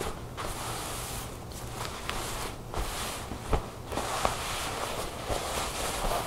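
Fingertips and long nails rub and scratch across a smooth black satin garment with a bow, folded on a table. The result is a steady, soft, hissing swish with a low rumble beneath it, broken by a few sharper scratchy ticks.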